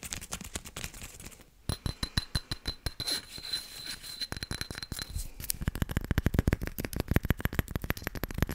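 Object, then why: Small glazed ceramic plant pot. Long nails rapidly tap and scratch a small, hollow, hard glazed white ceramic planter filled with an artificial succulent while it is held in one hand. The result is a fast, chaotic run of short, dry clicks with bright ticks and a low body. There is a brief pause early on, and the tapping grows denser and louder in the second half.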